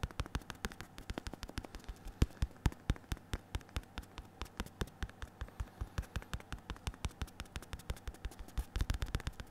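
Fingertips of a bare hand and a latex-gloved hand tap the leather surface of a black and red padded synthetic leather boxing focus mitt held upright. Dozens of quick, dull, low thumps follow one another in a steady stream, each dying away almost instantly, with a few louder taps near the middle and end.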